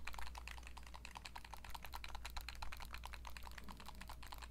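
Long nails tap rapidly on the plastic body, buttons and glossy screen of a small, hollow turquoise Nintendo Switch Lite handheld game console. The result is a quick, irregular stream of light clicking taps with bright edges. A steady low hum runs underneath.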